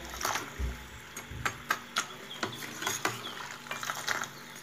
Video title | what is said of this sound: Phulki Recipe/Baisan ki Boondi for Dahi Phulki or Dahi Baray/How to make Phulki,Boondi/Iftar Recipes | आप इसकी साउंड सुन सकती हैं कि कितनी क्रिस्पी हैं और इन हिसाब से इनकी आवाज से पता चलता है